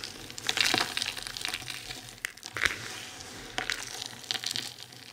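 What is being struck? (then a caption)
Pile of soap shavings. Hands scoop up a heap of dry, crumbled soap shavings, squeeze them, and let the crumbs fall back, crushing them with the palms. The result is a bright, dry crunching and crackling that comes in uneven bursts with quick decays and almost no low end.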